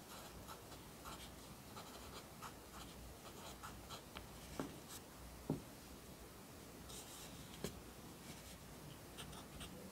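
A yellow wooden graphite pencil, held in the fingers, writes lines of text on the thin sheets of an open lined paper notebook lying flat on a desk. A steady, soft scratching of graphite on paper runs throughout, with bright bursts as each stroke moves across the page. Two brief, sharper taps stand out just past the middle and near the end.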